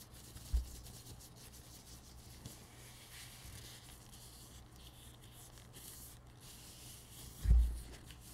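Thin blue disposable nitrile gloves are worn on both hands, and the gloved hands rub against each other while the fingers slide together, making a soft, steady rubbing squeak. The sound stays quiet and low-heavy throughout, with a louder bump near the start and another near the end.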